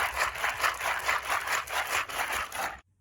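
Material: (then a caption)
Ice and water. A plastic bag of salted ice and meltwater is shaken while making ice cream in a bag, giving a steady rhythmic sloshing and rattling. The salt melts the ice into super cold water that cools and freezes the ice cream. The shaking stops abruptly just before three seconds.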